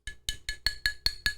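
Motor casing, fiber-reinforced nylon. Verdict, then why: Plastic. Seven hard, clicky taps on the motor casing inside a Thrustmaster T818 direct drive wheelbase. Each tap rings briefly with a bright, metallic-sounding tone. The casing isn't metal, though: it's a stiff glass- or carbon-fiber-reinforced nylon, the same material as the wheelbase's quick-release collar.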